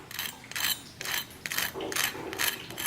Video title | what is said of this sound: How to Make Crispy Pata (Fried Pork Hock) | listen to how crispy